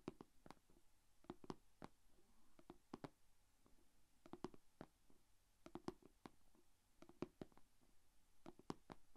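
Long painted fingernails tap on the closed lid of a small, shallow, rectangular clear plastic food container holding glitter slime. About 27 quiet, dry, sharp clicks come in uneven bursts with almost no ring, over a faint low hum.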